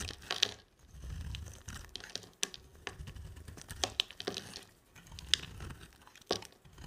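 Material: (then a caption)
Soap. A box-cutter blade shaves chunks off a rectangular solid white bar of dry soap with a black coated surface, held in the hand. Sharp, bright scraping crunches and crackly cuts come in quick bursts, separated by softer low rustling. Each cut stops dry with no ring.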